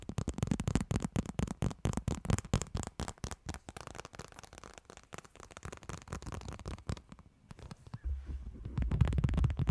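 Two people tap and scratch with long nails and fingertips on a black plastic phone case on a smartphone held over a microphone. The result is a dense, irregular stream of quick, boomy, crackling taps, mostly low in pitch. The sound thins out briefly while the phone is tilted up, then returns as a louder, deeper rumble once it is laid flat on the mic again.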